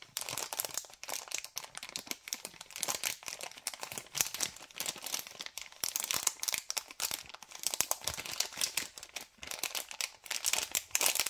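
Fingers crumple and crinkle a white LDPE plastic bag of cable ties held close. The result is a steady run of dense, bright crackles and sharp crinkles, dry and short with almost no low end.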